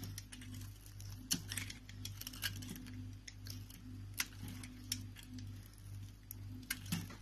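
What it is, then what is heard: Soap bar being cut and scraped. A hand-sized, solid green rectangular soap bar, pre-scored with lines and held in the palm, has pieces cut and scraped off it with a utility knife blade. Short, crisp, bright scraping and cracking clicks come in bursts over a steady low hum.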